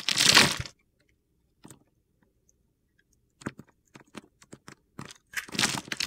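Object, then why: Bar of soap. A utility knife blade carves a solid green, grid-scored bar of soap held in the hand, breaking off small soap cubes. A long, bright, gritty crunch opens the clip, followed by a pause, then a run of short, sharp crackles and snaps. It ends with another sustained crunch.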